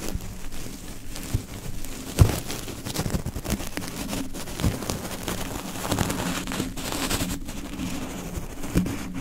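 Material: Metal mesh.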